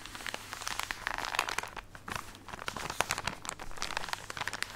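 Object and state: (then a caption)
Plastic package of cotton pads, scratched and squeezed. A full plastic package of cotton pads is scratched with fingernails and squeezed, giving a dense run of crinkling and crackling. Bright, sharp rustles come in quick uneven bursts with no ring after each one, over a soft muffled bed from the padding inside.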